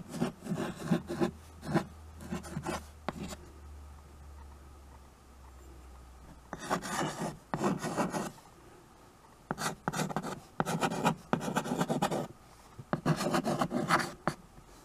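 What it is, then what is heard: Chalk writing on a chalkboard. A white chalk stick scratches across a small tabletop chalkboard, a dark painted board in a wood-look frame held in one hand, while writing. Short bursts of rough, raspy strokes come in clusters separated by brief pauses, with a faint low hum under the first half.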